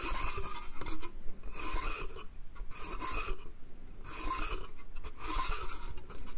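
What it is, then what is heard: Wooden slatted crate scratched. Fingernails scratch and rub the slats of a small, empty, hollow pine slatted bath crate. Repeated strokes make bright, raspy bursts of scratching that swell and fade over a low, steady rumble, with brief quieter gaps between passes.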